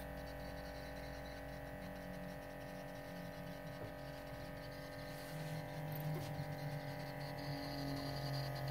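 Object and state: Nothing is struck.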